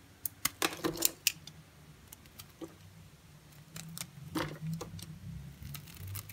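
A utility knife blade slices through a narrow slab of pale green dry bar soap. Sharp, bright crisp snaps and crackles come in an irregular burst early on, then give way to softer scraping and crumbling over a faint low hum.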